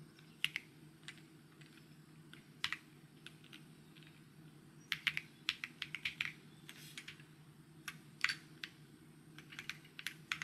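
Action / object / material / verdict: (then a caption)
tap / mechanical keyboard with plastic keycaps / plastic / none. Fingertips type and tap on a white mechanical keyboard with plastic keycaps. Short, bright, sharp clacks come in irregular bursts and scattered single strokes over a faint, steady low hum.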